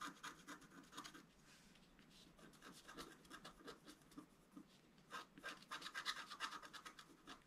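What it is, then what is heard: Scratch-art card being scratched. A wooden stylus scratches fine strokes through the black coating of a scratch-art card, exposing the colored foil layer beneath, while the card lies flat on a table. The result is a quiet run of short, dry, bright rasping strokes, roughly three per second, with a brief softer stretch in the middle. Each stroke stops dead with no ring and almost no low end.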